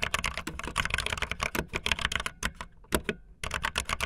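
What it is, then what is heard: Plastic mechanical keyboard. Fingertips with long nails type fast on a backlit optical linear plastic mechanical keyboard with white and blue plastic keycaps. Rapid, bright, clacky keystrokes run in a dense stream with a brief lull near the end, each click short and dry with almost no ring.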